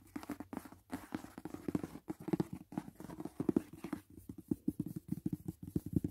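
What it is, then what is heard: Cardboard gift box. Fingertips and nails tap quickly on the lid of a closed, rigid white paperboard gift box resting on a bed. The taps are short, dull, hollow knocks centered in the low-mid range with almost no bright content, coming in fast, uneven bursts of varying loudness.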